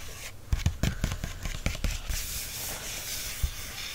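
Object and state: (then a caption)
Paper book page. Fingertips rub and trace across a glossy printed photo page of a paperback lying open. Soft, low thumps and brushing strokes come first, then settle into a steady, bright papery rubbing hiss, with one more light tap near the end.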